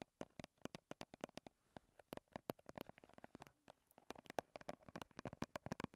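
A small soft-plastic BB cream squeeze tube is held in both hands and tapped rapidly with long red-painted nails, producing 39 quick, dry clicks. The taps come in fast, uneven bursts with a mid-pitched, hollow plastic tone and almost no ring after each hit.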